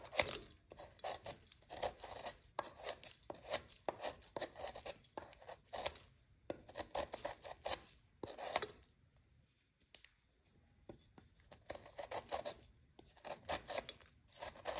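A metal knife repeatedly scrapes the edge of a solid white magnesium carbonate gym chalk block held in hand over a glass bowl, shaving off powder and crumbs. Quick bursts of bright, dry rasping scrapes follow one another, with a quieter lull of faint scratching midway before the scraping picks up again.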